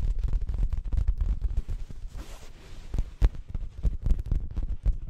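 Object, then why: Fabric-covered cushion. Long nails scratch and tap an orange printed fabric throw pillow held close to the microphone. The sound is a rapid, irregular run of deep, muffled thumps and soft scratching, with a quieter stretch of brushing in the middle before the taps pick up again.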